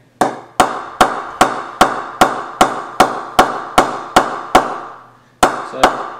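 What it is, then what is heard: Cricket bat with good rebound. A UK-made Cryptic Signature English willow cricket bat, priced around $450, is knocked 14 times with a mallet in the sweet spot. Each knock is a crisp, mid-pitched tock with a short ringing decay, coming in a steady rhythm with a brief pause before the last two. The bat shows a nice rebound.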